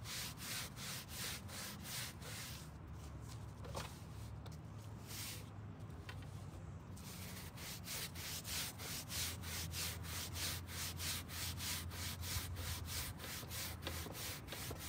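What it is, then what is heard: Carpet car floor mat being brushed. A gloved hand scrubs a long dark grey carpet rear floor mat lying on a folding table with a green-bristled hand brush. Quick, fairly regular back-and-forth strokes make a bright, raspy bristle swish over a steady low hum. The strokes soften and slow in the middle of the clip before picking back up at a brisk pace.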